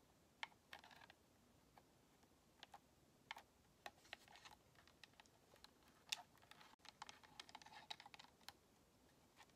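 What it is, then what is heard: Plastic game controller. Long nails tap the face and buttons of a white hollow plastic Xbox controller as it is tilted. The result is a quiet run of sharp, bright plastic clicks and taps, irregular and sometimes clustered, that die away almost instantly.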